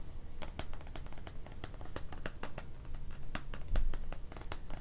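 A large paperback activity book, "Design Your Garden Toolkit," with a glossy printed card cover lies flat and closed on a wooden floor while one hand holds it and the fingertips and short nails of the other tap and scratch across the cover. A quick, uneven run of short, dry taps and brief scratches clicks bright and crisp over a low, steady rumble, each tap dying away almost at once.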